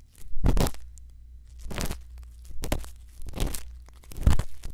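A thin bamboo earpick held in the fingertips scratches and scrapes inside the ear opening of a white silicone ear model mounted on a round binaural microphone housing. Close, crackling rasps come in short bursts, each sweeping up into bright hiss, over a steady low rumble.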